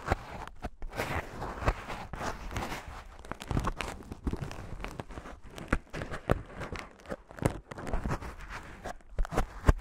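A white expanded polyethylene foam mesh sleeve, the light, airy kind of net used to protect fruit, is rubbed and stretched with fingertips. It makes soft, continuous crinkling and scratchy crunching with many brief sharp squeaks and crackles over a low, muffled rustle.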